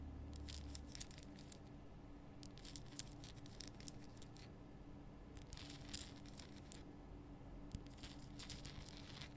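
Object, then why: Rock-salt lamp. Long painted nails scratch the rough surface of a large, solid, lit pink rock-salt Himalayan salt lamp. Quiet, bright, crackly scratching comes in irregular bursts with short sharp peaks over a steady low hum.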